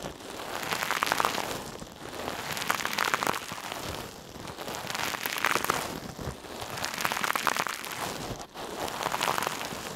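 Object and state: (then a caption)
Metal mesh scrubber rubbed on a surface. A hand-sized, soft, silver metallic mesh scrub sponge held in one hand is squeezed and rubbed over a mannequin ear. It makes dense, crinkly crackling that rises and falls in repeated swells, centered around 1.2 kHz with bright high sizzle and almost no low end.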